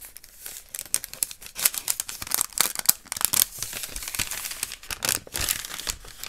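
Fingertips and short nails scratch and tap along the surface of a long, hollow, beige cardboard or paper tube lying on its side. The result is a dense run of dry, bright, crinkly scratches and quick papery taps with very little low end, each one stopping almost instantly.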